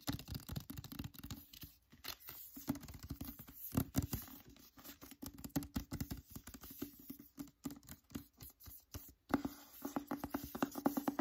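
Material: Cardboard, paper.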